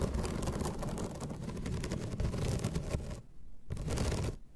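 Long red nails scratch across the slats of a flat bamboo placemat, making a dense, continuous rasping texture with a heavy low rumble. The scratching runs steadily, drops out briefly about two-thirds of the way through, then resumes before fading at the end.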